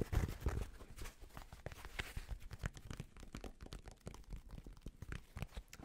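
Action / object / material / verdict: scrape / fabric snapback cap / fabric / none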